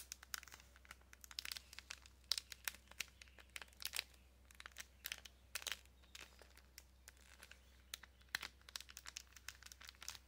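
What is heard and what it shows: A small clear plastic packaging bag holding a card of pink press-on nails is crinkled and scratched with long nails. Dozens of short, sharp, bright crackles and scratches come in quick irregular bursts over a faint steady low hum. The sound stays quiet and dry, with each crinkle stopping almost instantly.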